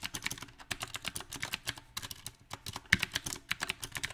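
Fingertips of both hands type on a small 68-key backlit mechanical keyboard with round typewriter-style plastic keycaps on a silver metal plate. Quick, bright, clicky keystrokes come in an uneven rhythm, each snapping off almost instantly, with one sharper, louder strike near the three-second mark.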